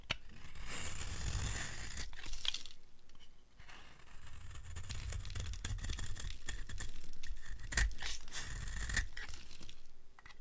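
A small blade carves a dry, solid green soap bar held in long-nailed hands, and crumbly flakes fall away. Dense, crackly scraping and tearing sounds run through most of the clip with a bright, gritty hiss over a low rumble. The sound eases briefly in the middle and fades at the end.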